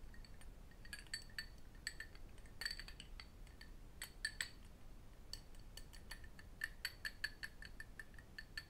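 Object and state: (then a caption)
Cut crystal glass tumbler with water. Metal rings and fingertips tap and clink against a small cut crystal glass tumbler, partly filled with water and held in both hands. Quick, short clinks ring at a steady pitch near 1.9 kHz with a bright upper overtone, scattered irregularly over a low, quiet background hum.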